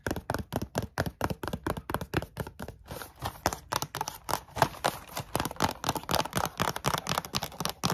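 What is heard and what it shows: Long glittery nails quickly tap the flat faces of a closed yellow Kellogg's Coco Pops cereal bar box made of thin printed cardboard, hollow with bars inside. The result is a rapid, uneven run of short, dry, hollow clicks and knocks centered in the midrange, each dying away almost instantly, with a brief softer stretch near the three-second mark.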